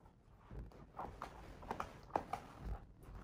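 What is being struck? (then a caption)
Paper page of a hardcover book. A fingertip traces the printed text on a paper page of a large open hardcover picture book, on the dinosaur spread. It makes a quiet, dry, scratchy rubbing with several soft, brief ticks and taps mixed in.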